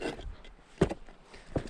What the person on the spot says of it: you can hear it I mean it's even sounds like ceramic